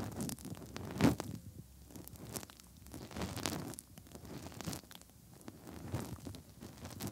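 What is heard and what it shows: Bare fingertips rub and press inside the hollow canals of the soft silicone ears on both sides of a 3Dio binaural microphone. The result is close, muffled, low-heavy rubbing and squishing with crackly scrapes and soft pops, swelling in bursts and easing into quiet gaps, loudest near the start.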